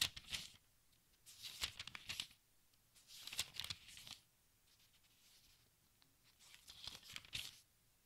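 Fingertips with dark-painted nails lift and flip single thin, crinkly paper pages of a large, thick open textbook resting on a striped tablecloth. Four quiet bursts of bright, papery rustling and crinkling are heard, with near-silence between them.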